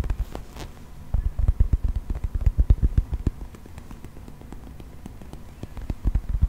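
A hand-sized, brown, textured plastic toy mammoth, held upright, is tapped and scratched with fingernails. It gives rapid bursts of short, dull, low-pitched taps with almost no ring, separated by a quieter stretch of soft scratching.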